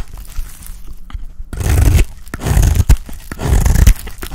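A box-cutter blade scrapes and shaves an oval, solid, dry orange soap bar. After a quiet stretch of faint scratches, three louder swells of dense, low, crunchy scraping and crumbling follow, with a few sharp clicks between them.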